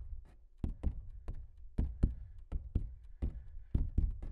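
Fingertips tap and knock on the surface of a large, hollow-backed stretched canvas print. About a dozen dull, low thumps come at an uneven pace, each one short and quickly damped with almost no ring.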